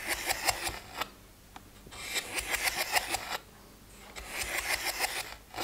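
Fingertips and nails scratch and tap the lids of a plastic weekly pill organizer with open, empty compartments. Three bursts of quick, bright, crackly scratching with light taps are separated by short quiet pauses.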